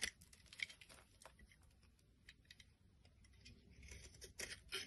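A metal blade scrapes brittle flakes off a solid white bar of soap. Quiet, bright, dry scratches and crisp crackles come in irregular bursts, each stopping short with no ring. The scraping grows a little denser and louder toward the end.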